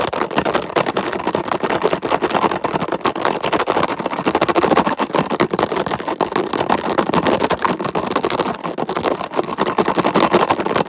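Fingertips and nails tap and scratch quickly across a hollow red plastic container lid with raised ridges. The result is a dense, steady stream of rapid plastic clicks and rasps, centred in the mids with little low end.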